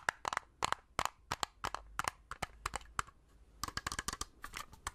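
Long red-painted nails tap a small, hollow plastic Agfa pocket compact film camera held in both hands, producing about 22 sharp, dry clicks in quick irregular clusters. The taps are bright and hollow-sounding, with no lingering ring. Quiet pauses separate the bursts.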